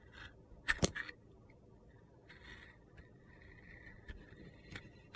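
A utility knife shaves orange slices from the side of a solid orange soap bar with a purple glitter crust, held in hand. Two sharp, crunchy cuts come close together near the start, followed by soft gritty scraping and a few quieter clicks.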